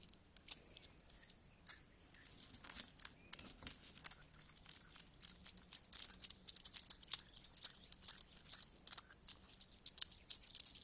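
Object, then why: Pile of small metal coins on carpet. A pile of mixed small solid metal coins on a carpet as fingertips rummage through it, picking coins up and letting them drop. Many quick, bright metallic clinks and jingles, with soft rubbing in between, ring briefly and die away fast. The clinking thickens over the second half.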